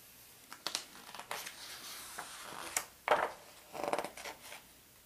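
Fingertips and a palm rub across the glossy paper pages of a large open atlas showing maps of North America, and then a page is turned. The sound is a series of soft, dry swishes and crinkly rustles with brief sharp ticks and bright paper hiss. Two fuller crackling sweeps of the page stand out near the end before it settles quietly.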